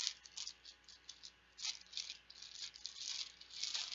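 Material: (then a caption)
Plastic. Plastic Bananagrams letter tiles are shaken and rattled together, making a dense, bright rattling clatter in quick, uneven bursts. The sound is thin and high-pitched, with no low end.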